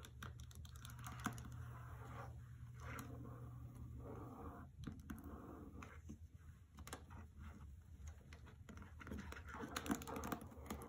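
A hardcover novel with a paper dust jacket lies on a carpet while long nails tap across its cover, then fingers grip the book and tap along its side edges. The result is a quiet, irregular run of short, dry clicks and soft scratchy paper rustles over a low background hum that fades out about halfway through.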